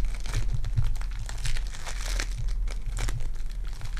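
Purple foam-bead clay is pulled apart into two pieces and pressed back together. It gives a steady run of dense crinkling and crunching with soft sticky pops over a deep low rumble, with no clear gaps between sounds.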